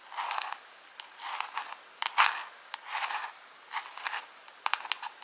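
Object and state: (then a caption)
Clear plastic jar, tapped and scratched. Long pink acrylic nails tap and scratch a small, hollow, round clear plastic jar or lid held close up. Short bursts of scratchy, crinkly scraping alternate with sharp, bright clicks, all high-pitched with no low end.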